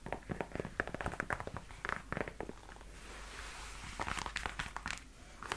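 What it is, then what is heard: Leather boot tapped with fingernails. Long nails tap and scratch the smooth leather on the foot of a black leather high-heel platform boot. Quick, crisp, dry taps come in uneven bursts, broken by a softer, steady scratching hiss in the middle before the tapping picks up again.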